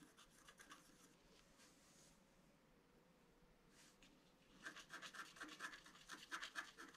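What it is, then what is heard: Scratch art card being scratched. A pointed wooden stylus scratches a flat A4-size scratch-art card, a black coating over a colored foil layer, resting on a table. Soft, bright scratching strokes come first, then fade to a quiet lull. Faster, louder rasping strokes follow toward the end.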